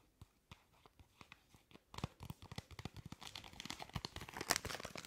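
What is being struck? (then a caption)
Paper and foil tea bag sachet. Long acrylic nails scratch and crinkle a small, flat paper and foil tea bag sachet labelled Zitronengras Ingwer, held up close to the microphone. Sparse, soft clicking taps open the clip, then after about two seconds the sound turns into denser, brighter crinkling and scratching that grows louder toward the end.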